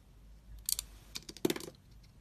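A utility knife blade slices the outer layer off a solid metallic blue bar of soap with a lilac interior, handled with long red nails. Four crisp, bright cutting and scraping bursts stand out from near silence, with a fuller crunch in the last one.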